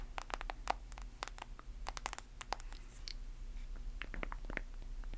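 Long acrylic nails tap and scratch the back and edges of a hand-sized smartphone with a glass screen in a solid white/clear plastic case. Quick, sharp, bright clicks come in irregular bursts, mixed with brief scratchy strokes, over a faint low hum. Each tap dies away almost instantly.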